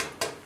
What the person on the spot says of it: it sounds solid which tells me that there's water on the top of the expansion tank so I suspect that the expansion tank is good